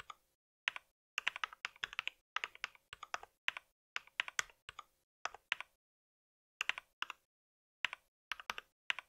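Fingertips of both hands type on a compact white mechanical keyboard with plastic keycaps, brown switches and a solid body. Bursts of quick, crisp, bright key taps come in clusters separated by short pauses, each tap dying away almost instantly with no low thump.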